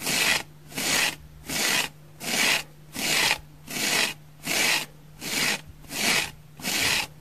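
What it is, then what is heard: Dry foam sponge. A dry orange oval foam sponge with large pores is held in the hand and scratched across its surface with long fingernails. About ten steady, rhythmic strokes make a bright, dry rasping scrape, each separated by a short pause. A faint low hum runs underneath.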